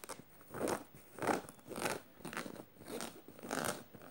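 Fingernails scratch rapidly over a black canvas tote bag studded with metal studs. The result is a run of dry, crunchy scratching strokes that swell and fade in an uneven rhythm, with a faint bright scrape and almost no low end.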